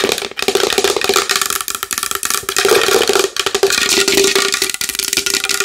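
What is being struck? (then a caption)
Large wooden bowl. Long nails tap fast and continuously on a large wooden bowl. The crisp, bright clicks run in a dense stream over a steady hollow ring near 420 Hz, with no low end.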